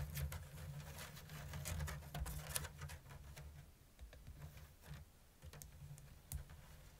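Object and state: Woven bamboo basket.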